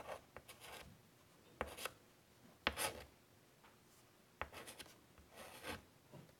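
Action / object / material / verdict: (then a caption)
scrape / chalkboard in a wooden frame / slate / none. Fingers draw small doodles with white chalk on a large flat chalkboard in a wooden frame, making quiet scratching and rubbing strokes. Short bursts of bright, gritty chalk scraping are punctuated by a few sharp taps as the chalk meets the board, with near silence in between.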